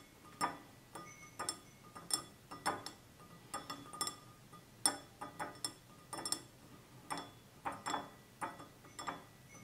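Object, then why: Glass drinking tumbler. Fingernails tap the sides of a small, hollow, empty stemless drinking glass of clear glass with a red-tinted base, standing on a table, in an uneven ticking rhythm. About 22 short, bright clinks are heard, each with a brief high ring that fades quickly.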